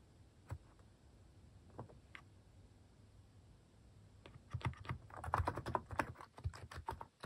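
Fingertips type on a white-case Hanmumu mechanical keyboard fitted with pastel plastic cat-shaped keycaps. A few isolated, muted keystrokes come first, then a fast, dense run of clacky typing fills the second half. The keystrokes are short, low, thocky clicks that fade quickly.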